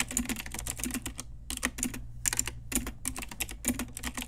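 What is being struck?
Mechanical keyboard with plastic keycaps.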